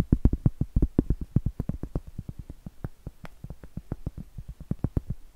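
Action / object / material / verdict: tap / cork trivet / cork / none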